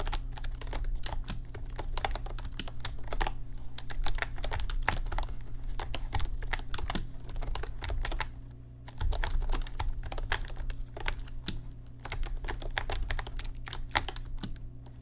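Continuous fingertip and short-nail typing with both hands on a backlit plastic RGB mechanical computer keyboard with plastic keycaps. It produces rapid, clacky keystroke clicks over a steady low hum. The typing briefly eases around the middle before resuming at the same pace.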